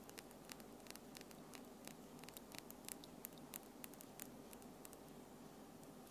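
Long French-tip acrylic nails with small solid tips tap together as the fingertips and nails of both hands click nail-on-nail close to the recorder. Short, bright clicks come at an irregular pace over a steady, soft background hiss. Each click dies away almost at once.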